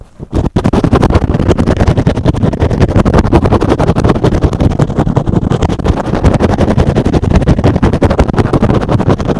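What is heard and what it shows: A soft, porous, hand-sized rectangular green and blue synthetic foam sponge is held in one hand and rapidly scratched with the fingertips and short nails of the other hand. After a brief quiet start, a dense, steady stream of short, dull, low-heavy scratching strokes continues with no ringing between them.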